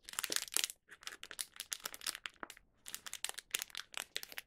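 A small, thin Young Donut plastic snack wrapper with a donut inside is gripped and squeezed by fingertips. It gives quick, bright crinkling bursts with almost no low end, broken by short pauses near 0.8 and 2.6 seconds.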